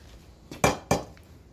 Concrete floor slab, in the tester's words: Before, when I would tap on it, it sounded really hollow underneath. But now it's got a little more sound to it